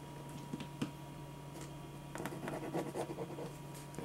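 A black pen held in the fingers scratches and hatches lines across a thin white paper sheet lying flat on a dark surface, while the other hand holds the sheet still. Soft, dry scratching strokes come in short bursts, growing busier and denser in the second half over a steady low hum.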